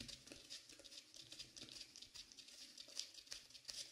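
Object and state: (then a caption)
Velvet-flocked dummy head microphone tapped and rubbed. Fingertips in white cotton gloves tap and rub the top and sides of a dark blue velvet-flocked binaural dummy head microphone. The result is a quiet, steady stream of soft, quick patters and brushing rustles. The sound is mostly bright, hissy texture with almost no low end.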